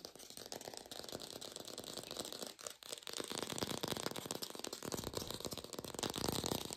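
An artificial plastic green apple is tapped fast, recorded lo-fi without a microphone. Dense, rapid, dry clicking taps blur into a continuous rattling patter with bright hiss on top. The tapping briefly thins out near the middle, then resumes slightly louder to the end.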